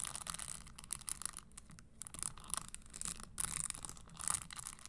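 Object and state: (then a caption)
Spiked leather stiletto pump. Long fingernails scratch the metal spikes of an empty red Christian Louboutin spiked leather stiletto pump and tap inside its hollow leather insole. The result is quiet, dense, bright scratchy rasping broken up by quick dry taps that stop dead with no ring.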